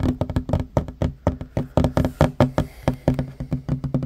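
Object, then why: Wooden table top. Fingertips and short nails tap quickly on a flat, solid wooden table top, about 25 times in just over four seconds. Each tap is a short, dull knock with a low body and a faint tone around 250 Hz. The sound dies away almost immediately, with little brightness.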